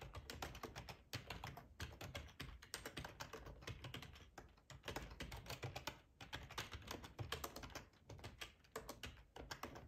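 Fingertips of both hands type steadily on a black plastic ergonomic split keyboard with a hollow housing, lying on a cloth tablecloth. The rapid key-press taps have a soft, low thump and a bright clicky edge, each dying away almost instantly, with brief pauses between bursts of typing.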